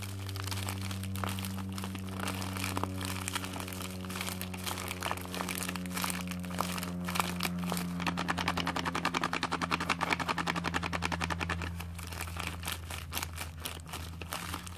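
A partly opened white padded plastic bubble mailer is held in both hands while long dark nails scratch it and the hands squeeze and crumple its plastic film. Dense, rapid crinkling and crackling run throughout, growing busier and brighter in the middle, over a steady low hum.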